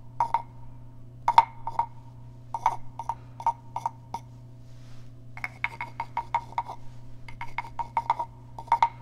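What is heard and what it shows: A small hollow carved wooden frog guiro is tapped and scratched on its back with fingernails. Sharp, dry wooden clicks ring briefly at a hollow mid pitch, arriving singly and in quick rattling runs over a steady low hum.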